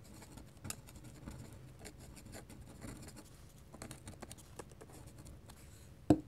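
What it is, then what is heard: Pen scratching on drawing paper. A hand scratches short hatching strokes with a fine-nib ink pen across a large flat sheet of white drawing paper resting on a desk. The result is a steady, quiet run of soft, dry scratches with faint bright edges, ending in one sharper, louder tick near the end.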